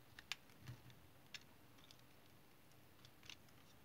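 A small, solid piece of brown household or tar soap, held in the fingers, has thin curls shaved off its edge with a small metal knife blade. Each cut is a brief, crisp, bright scrape or tick with almost no ring, spaced irregularly over a quiet, low background rumble.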